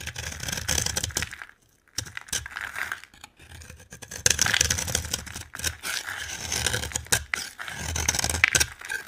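A utility knife scrapes and carves a dry, solid orange bar of soap with a blue outer coating, shaving off crumbly pieces. Bright, gritty scraping strokes come in bursts, broken by short pauses, with a crisp crumbling texture.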